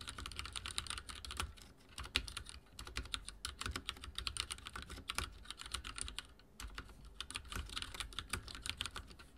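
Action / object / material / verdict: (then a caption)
tap / mechanical keyboard with plastic keycaps / plastic / none. Fingertips type steadily on a backlit mechanical keyboard with dark plastic keycaps, producing rapid, bright clicking taps over a low thump. The keystrokes come in quick bursts with two brief lulls.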